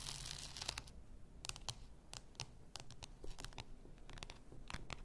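Long nails scratch the shoulders and the labeled body of a full bath salt bottle, likely glass. Quick, bright, crackly scratches and clicks come in rapid bursts over a quiet low rumble.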